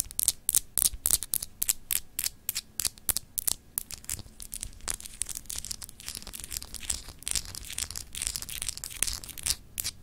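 Long acrylic nails scratch and tap across a palm-sized solid clear glass globe paperweight with etched lines. A rapid, uneven series of sharp, bright clicks mixes with dry, high scratchy rasps over the ridged surface. Each tap stops almost instantly with no ring.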